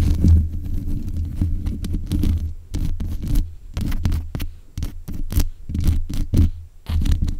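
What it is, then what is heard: Metal microphone grille tapped with fingernails. Long nails tap repeatedly on the metal mesh grille head of a black USB condenser microphone. Each tap comes through as a dull, boomy thump with a deep low hum beneath it, plus faint bright clicky edges. The taps run in uneven bursts over a steady low rumble.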